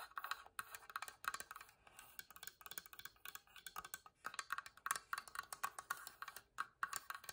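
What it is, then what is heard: Wooden box. A wooden box is tapped rapidly and scratched, giving quick, dry wood-block-like knocks with a hollow tone around 1.1 kHz and bright clicky edges. Each tap dies away almost instantly, with no low end and short pauses between bursts.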